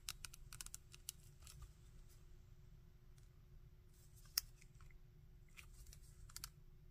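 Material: Hard plastic.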